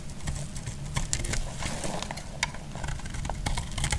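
The remaining solid piece of an orange bar soap is shaved with a metal blade. Quick, dry scraping crackles and sharp bright ticks sound over a steady low rumble throughout.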